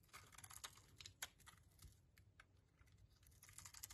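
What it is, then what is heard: Soap bar being chipped. A small, solid purple soap bar, held over a pile of soap shavings, is scored and chipped into shards with a metal utility-knife blade. Quick, bright, dry clicks and crunches follow one another in an uneven rhythm. Each dies away almost at once over a faint low rumble.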